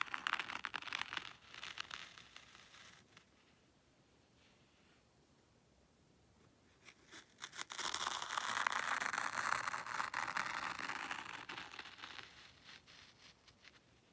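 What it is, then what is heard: Fine sand raked in a tray. A small wooden rake is dragged by hand through fine white sand in a black hexagonal zen garden tray. Dry, bright scratching strokes come first, then a near-silent pause, then a longer, louder stretch of continuous hissing rakes that gradually fades out.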